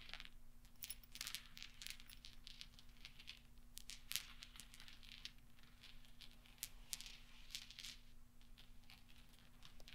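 Fingertips scoop and roll small solid steel pachinko balls on black velvet, so they clink together in a quiet, steady stream of bright, short ticks and rattles. The clinks die away almost instantly over a faint constant low hum.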